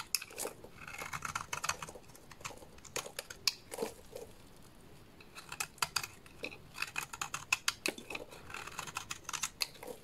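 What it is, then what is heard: Bar soap being shaved with a blade. A solid purple bar of soap held in the hands is shaved with a small blade, lifting off flakes and curls. The clip is a quiet, close series of crisp, bright scraping cuts and short crackling strokes with brief pauses in between.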